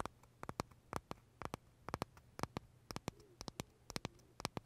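Short fingernails tap and scratch the crisp shell of a large pale green pistachio macaron held edge-on near the mouth. About twenty sharp, dry clicks come in an uneven rhythm, each bright and very brief. A faint low hum sits underneath.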